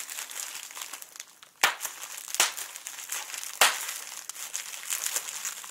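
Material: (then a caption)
Plastic. A clear plastic bubble wrap sheet with air-filled bubbles is scrunched by fingertips, then rolled and squeezed in one hand. It makes a steady, bright crinkling with no low end, broken by three louder, sharp crackling bursts.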